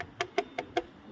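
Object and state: Clogged air flow sensor.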